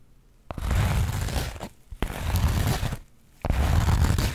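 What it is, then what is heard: Burlap fabric pouch scratched. Long nails scratch the woven surface of a flat linen or burlap fabric pouch held up in front. Three bursts of rough, dense, low-heavy scraping come in stop-and-go fashion, each separated by a brief quiet pause.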